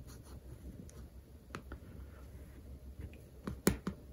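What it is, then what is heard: Paperback textbook with glossy cover, pen scratching. Quiet, close scratching with a few sharp little clicks, the loudest near the end, each dying away almost at once. A capped plastic pen tip dragging and catching on the laminated cover of a thick paperback. The dead, short sound comes from the solid paper underneath.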